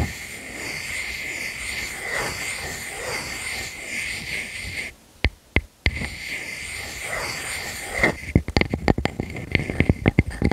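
Long fingernails scratch the surface of a solid round wood slice with growth rings, one hand holding its edge. A steady, hissy scratching with a bright band near 2 kHz runs for about five seconds, breaks into a near-silent pause with a few isolated clicks, then resumes. It ends in a burst of rapid, separate taps and scrapes.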